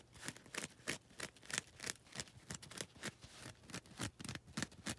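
Long red nails scratch the lilac coarse-grit side of a foam nail buffer block in 17 short, bright, rasping strokes. The strokes come at an uneven pace, each a dry scratchy burst with no ring afterward.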